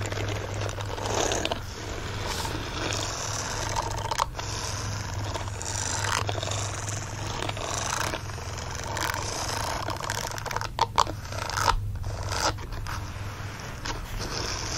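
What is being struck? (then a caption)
Silicone dish glove with bristles. Fingernails scratch and rub the bristled palm and fingers of a green silicone dish glove lying on a blanket. A steady, dense rasping scratch runs throughout with bright, papery texture, a few sharper clicks near the end, and a constant low hum underneath.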